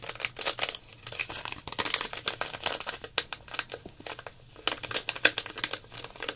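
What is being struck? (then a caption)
Plastic zip-lock bag of glitter. Long black nails and fingertips crinkle, squeeze and tap a small clear plastic zip-lock packet full of loose gold glitter held in the hands. Dense, bright crinkling comes in rapid, irregular bursts with short dry clicks, almost no low end, and quick dips to near silence between flurries.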